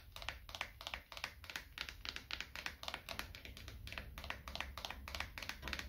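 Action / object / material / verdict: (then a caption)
tap / thin wooden coaster / wood / none. A small, thin, light solid wooden coaster is held edge-on in the hand and tapped and scratched with fingertips and nails to help reduce stress. It gives a quick, uneven run of short, bright, dry clicks that die away almost at once, over a faint low hum.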